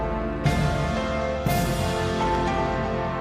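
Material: Nothing is struck.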